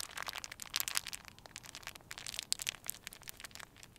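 A small, crumpled piece of clear plastic wrap is held in cupped hands and crinkled and squeezed by the fingertips. The result is a steady stream of quiet, bright, crisp crackles and snaps with almost no low end, each one short with no ring.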